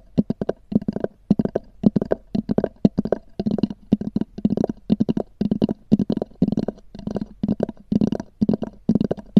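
Long nails tap and scratch on a small black oval hard-shell EVA zip case with a textured cover. The hollow shell gives a rapid, uneven series of dull, hollow clicks and short scratchy bursts with a low resonant body and almost no ring.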